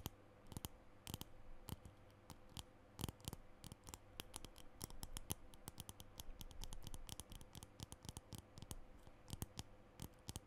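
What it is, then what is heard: Plastic lipstick tube. Long nails tap and scratch on a small plastic lipstick tube with a green base, held in both hands. Rapid, irregular, dry clicks and brief scratches sound bright and sharp and die away instantly, over a faint steady low hum.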